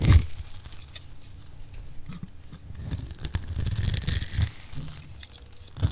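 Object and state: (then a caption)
Dry soap bar being cut. A solid oval mint-green bar of dry soap, held in the hand, is scraped and cut with a metal blade, shaving off flakes. Dry, crisp tearing and crunching scrapes run in quick bursts over a low rumble. The bursts brighten toward the middle before tapering off.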